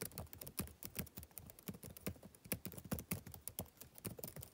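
Fingertips type rapidly on the plastic keys of a backlit laptop keyboard, producing a steady stream of quick, overlapping taps. Each keystroke gives a short, dull thud with a faint bright click, and the taps vary in loudness, with occasional harder strikes standing out.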